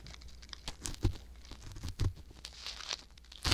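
A wooden ear pick scratches inside the ear canal of a soft silicone ear mounted on a white box binaural microphone. Close, crinkly scraping and rustling rides over a low, muffled rumble, with heavier thumps near one, two and three and a half seconds.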